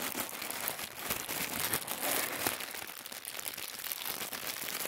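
A sheet of thin white tissue paper is unfolded and crinkled by fingers, partly lifted from a wooden table. The result is a steady, dense crinkling and crackling that is bright and airy, with almost no low end and quick, short-lived rustles throughout.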